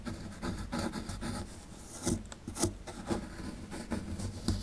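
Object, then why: Plaster excavation block scraped with a plastic chisel. A dark plastic chisel rasps and scrapes across a solid plaster excavation block held in hand, working beside the embedded skeleton. The sound is a run of irregular, gritty scraping strokes with occasional sharper bursts. It is dry and close, with a low, muffled body and a short, quickly fading sound.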